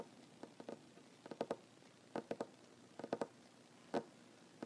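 Short fingernails of one ringed hand tap a solid wooden tabletop in irregular clusters of two or three quick taps, about 15 in all. Each tap is a dry, sharp click centered in the mid range that stops at once with no ring, separated by brief quiet gaps.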